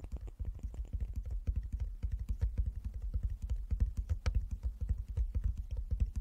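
Fingertips tap rapidly on a wooden chess board, a box lined with fabric inside. The taps are soft, dull and low, each dying away almost at once, and they come in a steady but uneven patter throughout.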